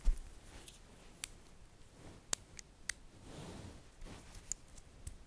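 Fingers with long nails pull apart and snap together small solid green-coated magnetic metal balls arranged in a bracelet shape. Six sharp, bright clicks stand out from soft rustling and scraping over a quiet low rumble, each one dying away almost instantly.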